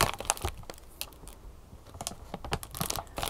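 Long painted nails tap and scratch the clear, crinkly plastic film sealed over the printed card sleeve of a large, flat retail candy sushi package held upright. The result is a quick, irregular run of sharp crinkling taps and scratchy rustles, with a quieter stretch in the middle.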